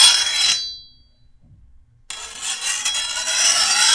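A hand-held steel file scrapes along the edge of a long, thin, solid steel machete blade in two strokes. The first short, bright rasp leaves the blade ringing with a high metallic tone that fades into near silence, then a second, longer gritty stroke follows and keeps growing louder.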